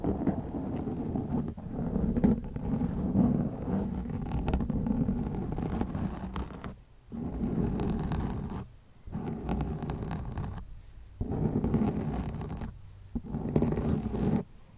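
Long nails scratch the sides of a black foam windscreen on a white microphone. The result is a dense, muffled, rumbling scrape with almost nothing in the high range, concentrated around 200 Hz. It plays in continuous stretches broken by short silent gaps near 7, 9, 11 and 13 seconds.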